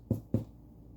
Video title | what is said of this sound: Homemade Bread no special skills or equipment required! | Like Somebody's knocking on the door that's what we're looking for